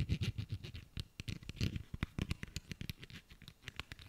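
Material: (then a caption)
Soft plastic. A small pink soft plastic hand cream tube, held in the hands, is tapped and scratched with fingernails. The result is a quiet, rapid run of short, dull taps with bright, scratchy clicks over a soft low thump.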